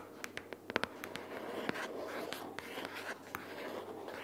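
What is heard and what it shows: Long purple fingernails of both hands tap and scratch a pink paperboard notebook case or binder lying flat with paper inside. About a dozen sharp, dry clicks stand out over a soft, continuous scratching hiss. Each tap stops almost instantly with no ring.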